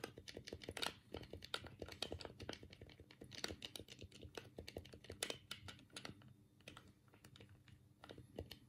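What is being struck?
Plastic game controller.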